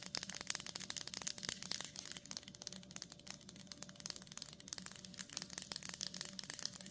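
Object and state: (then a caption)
Plastic-wrapped cheese block tapped and scratched. Long nails rapidly scratch and tap the front of a solid block of cheddar sealed in plastic with a printed label. The result is a quiet, continuous stream of bright, crinkly scratches and short, sharp clicks that die away almost instantly, with very little low end.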